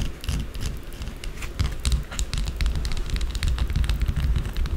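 A small solid white bar of soap on a dark table is scratched fast and aggressively with long blue acrylic nails. The result is a dense run of dry, crackly scratches with bright, sharp clicks over a low rumble.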